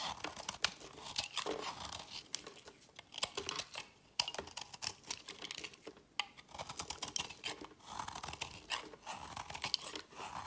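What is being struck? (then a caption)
Solid bar soap. A metal blade scrapes and cuts crumbly chips off the edge of a multi-layered green, dark and white solid soap bar held in the hand. Bright, dry crunching and crackling scrapes come in quick bursts with sharp little snaps, with almost no low end.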